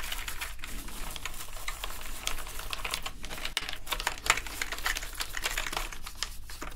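Two toothbrushes scrub the foam-covered keycaps of a black plastic gaming keyboard, making the keys click. Rapid, dense clicks and bright bristle scratching run throughout, over a steady low hum.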